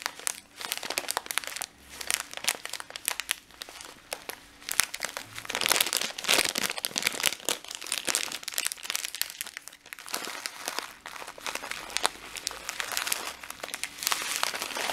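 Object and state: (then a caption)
Plastic bag of dried lentils. A full plastic bag of dried green lentils is squeezed, crinkled and shaken close up with the fingertips. Dense, bright crinkling and rustling continues throughout, with the lentils shifting and rattling inside the bag in quick bursts of sharp crackles.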